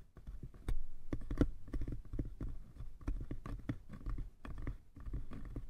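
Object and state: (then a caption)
Hollow wooden box. Fingertips of both hands rapidly tap the sides of a small, hollow, light-wood box. The result is a dense, quick patter of soft, dull, low thuds with very short decay and almost no brightness.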